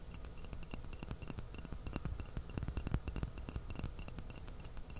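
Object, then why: Porcelain teacup. Fingertips and fingernails tap rapidly on the outside of a small, empty white porcelain teacup with a purple floral print, held upside down in both hands close to the microphone. The result is a steady, dense patter of quick, light taps with bright, glassy clinks riding over a soft, low thudding body. Each tap dies away almost instantly.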